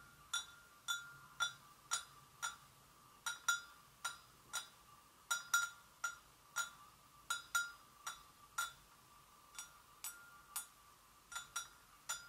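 A porcelain gravy boat is gently tapped 23 times at an uneven pace over about 12 seconds. Each tap gives a clear, bright chime-like ring pitched around 1.4 kHz with high overtones, decaying quickly, against quiet silence.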